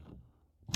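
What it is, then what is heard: Wooden bookcase knocked. A single faint knock on a wooden bookcase, done for luck, lands near the end as a short, sharp tap. It has a low thump and a bright click and dies away almost at once. Before it there is only low, quiet background.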